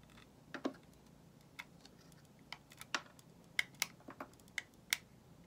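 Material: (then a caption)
Soap. A metal utility knife blade shaves a solid white bar of soap held in the hand, producing about a dozen short, crisp, bright clicks and scrapes spaced irregularly over a quiet background. Each cut snaps off quickly with almost no ring.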